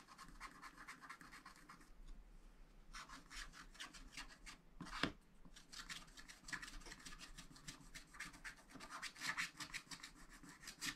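A pointed wooden stylus scratches the black wax coating off a thin sheet of a spiral-bound scratch-art pad lying flat on a table, revealing a colourful city picture beneath while the other hand holds the pad. Short, repeated, bright papery scratching strokes come in quick bursts, with a brief lull around two to three seconds and one sharper, louder stroke near the middle.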